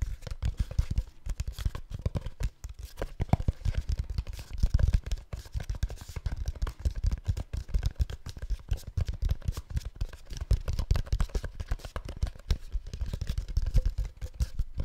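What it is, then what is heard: Plastic supplement bottle. Fingernails scratch and tap across the label of a hollow white and orange plastic supplement bottle held sideways. The result is a steady stream of quick, dry scratches and soft, dull taps, heavy in low thump with little brightness, each hit dying away almost instantly.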